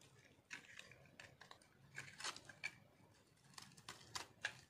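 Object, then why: Soap bar scraped with a metal knife. A metal knife scrapes crunchy shavings off a solid pink speckled dry soap bar held in one hand. Quiet, bright, dry scratching bursts come in irregular, rapid strokes, each dying away almost instantly over a faint low rumble.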